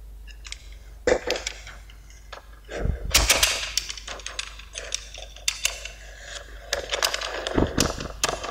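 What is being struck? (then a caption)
Kinetic sand brick cut with a metal blade. A small solid pink Lego-shaped brick of kinetic sand on a white surface is cut into slices with the metal blade of a yellow utility knife while a fingertip steadies it. The blade presses and scrapes through the sand in a run of bright, gritty crunches and crackles, with a few duller low thuds as slices are pushed through.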